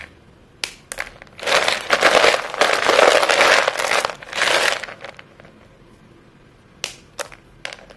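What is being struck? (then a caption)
Chalk sticks. Chalk-covered fingers squeeze and snap short, solid white chalk sticks from a pile, crumbling them. A couple of sharp snaps lead into several seconds of dense, gritty crunching spread across mid and high frequencies. After a quiet pause, a few more crisp snaps follow near the end.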